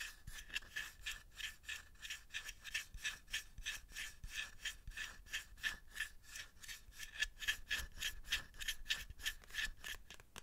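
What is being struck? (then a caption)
Small bamboo box. A small hollow bamboo box or tray is held in both hands while fingertips and nails scratch and rub across its surface. About 28 quick, steady strokes are heard over roughly ten seconds, each a bright, dry rasp with a faint resonant tone near 1.7 kHz.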